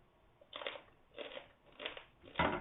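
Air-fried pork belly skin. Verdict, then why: Crisp. Air-fried pork belly with crisp skin is bitten and chewed, giving four loud bursts of dry crunching and crackling at roughly even intervals, with quiet gaps between. The skin is very crispy.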